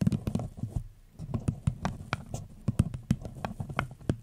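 A small, empty floral-printed paper cup with a gold rim sits upside down over a fluffy mic cover and is tapped and scratched with long pink nails. A rapid, irregular run of soft, dull, hollow taps sits mostly below 200 Hz, with faint scratchy rustle between them and a brief quieter pause near the one-second mark.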